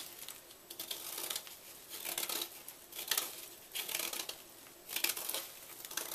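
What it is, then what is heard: Gym chalk block being scraped. A solid white gym chalk block held in the hand is scraped and cut repeatedly with a small knife, breaking off powdery flakes. Dry, bright scratching and crunching bursts come in uneven strokes with short pauses between them, and each stroke fades quickly with no ringing.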